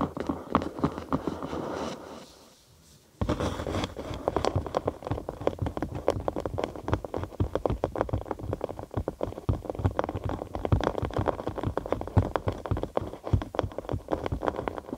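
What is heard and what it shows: A thin cork sheet, curved over a binaural microphone with a hollow space underneath, is scratched and tapped with long acrylic nails. A brief rough scratching gives way to a near-silent pause of about a second, then a long run of rapid, dense taps and scratches. The hollow cork gives each contact a deep, bassy thump centered around 98 Hz, with very little bright content.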